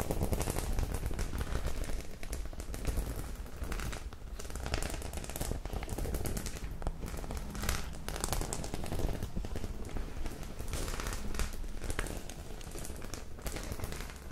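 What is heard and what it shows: Long pink acrylic nails tap and scratch across the front of a small flat white faux-leather clutch bag covered in rows of silver and dark round metal studs. The result is a steady stream of quick, crackly clicks and scrapes with a low, heavy rumble underneath, holding at an even level throughout.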